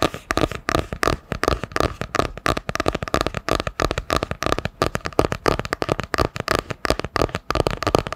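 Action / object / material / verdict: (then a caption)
tap / hardcover book with cardboard cover / cardboard / none. A solid hardcover book with a printed cardboard cover, held in both hands, is tapped across the cover with long nails. The result is a fast, continuous run of sharp, dry clicks with almost no ring, carrying a faint mid-range tone around 440 Hz.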